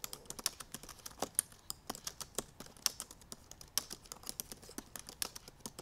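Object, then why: Laptop keyboard with plastic keys. Long purple nails and fingertips type quickly on the black plastic keys of a silver aluminum MacBook Pro laptop keyboard. About 34 short, bright, dry taps and clicks come in a rapid, uneven run, each stopping almost instantly with very little low end.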